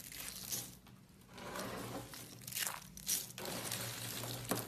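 A pile of small, hollow, yellow dried soap curls is pressed and crushed with palms and fingers. It makes dense, bright, crisp crunching and crackling in uneven bursts over a faint steady low hum. The curls break down into crumbly flakes.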